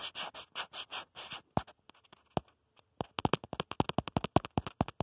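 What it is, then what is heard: Plastic phone case. Fingertips scratch and tap rapidly on the back of a smartphone in a black plastic protective case. A run of rhythmic, hissing scratch strokes gives way to a few scattered taps. A quick, uneven burst of sharp, dry clicks follows.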